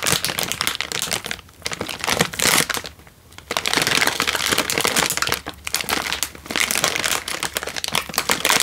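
A single Indomie chicken instant noodle packet, a crinkly plastic/foil wrapper full of a dry noodle block, is held in one hand and squeezed and crinkled with the fingers and thumb. Dense, bright crackling crinkles come in bursts, with brief quieter pauses around the three- and five-and-a-half-second marks.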